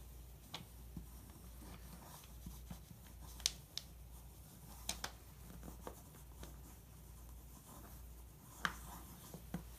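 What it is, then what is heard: Pencil tracing on glossy magazine paper. A pencil point scratches and traces over a printed photo on a thin, glossy magazine page. Soft, continuous scratching rides over a low steady hum, broken by several sharp, bright ticks where the point catches the paper.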